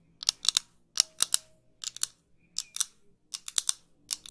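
Long pink nails tap and scratch a pair of small, light, thin wire-frame metal eyeglasses with clear lenses held close to the mic. Sixteen sharp, bright, high-pitched clicks come in quick pairs and small clusters, each dying out almost instantly with no low end.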